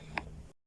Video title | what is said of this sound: Examen Físico del Torax | el sonido cambia porque estamos percutiendo sobre el estómago un gran órgano hueco